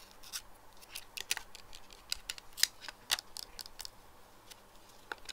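Fingernails tap the black perforated lenses and clear frame of small plastic pinhole eyeglasses lying on a desk. The result is a quiet, irregular series of sharp, bright plastic clicks with almost no low end. Each tick dies away instantly.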